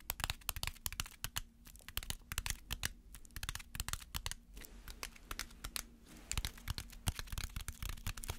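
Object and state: Aluminum foil ball.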